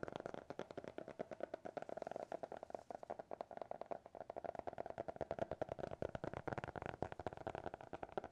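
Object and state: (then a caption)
Hardcover notebook tapped. Fingertips and nails tap and scratch on the cover of a small, closed, solid black hardcover notebook with a TikTok logo. Dozens of quick, dry taps run steadily, each cut short with almost no ring. They carry a hollow mid-range knock centered around 700 Hz, with faint scratchy texture between them.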